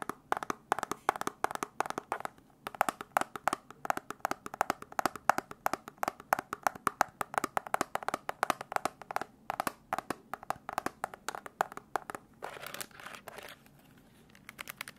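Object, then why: Plastic desk calculator. Fingertips and nails tap rapidly across the keys and display window of a black plastic desk calculator with a hollow case. The result is a fast, dense stream of short, dry, clicky taps with a hollow midrange tone, little low end, and almost no ring. Near the end there is a brief scratchy stretch and a short quiet pause before a few final taps.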